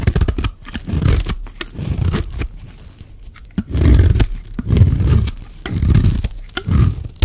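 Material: Soap.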